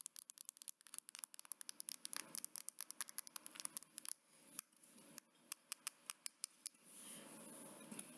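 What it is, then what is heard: Fingernails tapping a metal phone back. Medium-length nails tap and scratch the smooth metal back panel of a gold smartphone, near its camera lens. Dozens of quick, bright, dry clicks come in rapid runs, with no ring after each one. Soft scratching fills the gaps and swells into a steady hiss near the end.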